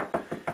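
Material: Plasterboard.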